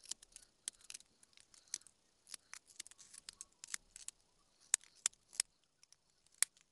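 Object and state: Small wooden carving blank.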